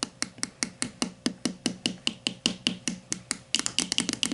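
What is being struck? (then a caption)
Plastic deodorant stick. Long matte nails tap and scratch the side of a grey plastic Dove Men+Care deodorant stick lying on its side, a hollow plastic casing with product inside. About two dozen short, dry, bright clicks come at a steady pace with a tone near 2.9 kHz, then turn into a quicker, denser burst of taps at the end. Each hit dies away almost at once.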